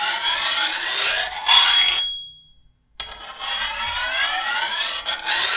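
A hand-held steel file scrapes along the edge of a long, thin, solid steel machete blade in two bright, rasping strokes. Between them the blade rings with a high metallic tone around 3.3 kHz that fades into silence before the filing resumes.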